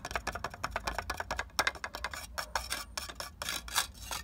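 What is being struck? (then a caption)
Clay brick. Fingertips and nails scratch and tap the rough, porous surface of a solid red clay brick lying outdoors on the ground. A fast, uneven run of dry, bright scratches and crisp taps follows, each one short with no ring.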